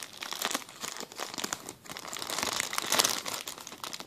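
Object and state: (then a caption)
Plastic zip-lock bag. A clear, empty plastic zip-lock bag is handled and crinkled with the fingers on a table. It makes a dense run of bright, crackly rustles and quick crinkles with almost no low end, swelling and easing in small bursts with a sharper peak near the three-second mark.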